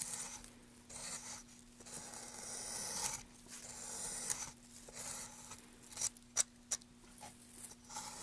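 A gloved hand carves and scrapes grooves into a solid light wood plank with a tool, making dry, bright rasping strokes in uneven bursts. Near the end, a few sharp, quick ticks stand out over the scraping. A faint steady low hum runs underneath throughout.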